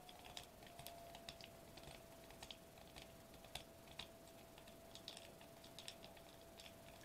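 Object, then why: Foil-laminated plastic bubble wrap sheet. Fingertips with short nails tap rapidly on a sheet of foil-laminated plastic bubble wrap lying flat on a table. The result is a quick, irregular patter of soft, bright, crisp clicks that die away almost instantly, heard over a faint, steady hum at about 650 Hz.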